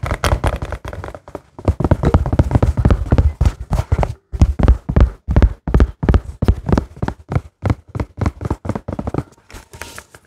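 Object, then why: Small silicone coin purse. Fingertips and short nails tap and squeeze a small hollow pink and white silicone donut-shaped coin purse with a lanyard. Dull, muffled thuds come in quick, uneven bursts at first, then settle into more separated taps. Each hit is soft and low-heavy, dying away almost at once.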